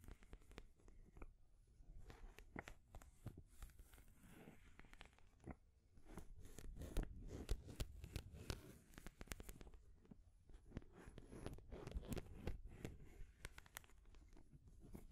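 Long grey nails scratch and tap the sides of a painted wooden stacking ring toy held upright. The result is quiet, dry scratching mixed with irregular short, bright taps over a soft low rumble.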